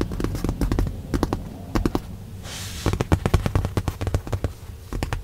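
Long nails and fingertips tap repeatedly on a padded white leather car seat cushion in a Tesla, making rapid, dry clicks over a soft, low thumping. A brief bright, hissy rub sits in the middle of the tapping.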